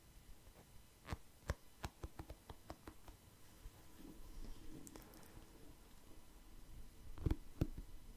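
Fingertips tap and scratch a wooden paddle hair brush, both its bristles and its wooden body, close to the microphone. Quiet, dull, low taps come in an irregular series, with soft scratchy rustling in between. Near the end, two louder knocks stand out.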